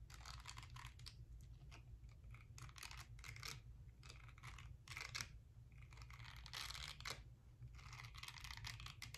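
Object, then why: Silicone facial cleansing brush. Long nails scratch over the silicone bristles of a small, round, palm-sized pink silicone face-cleansing brush with a smooth pink back, held in the hand. Bursts of dry, crackly scratching come in quick irregular runs with brief pauses between, over a steady low hum.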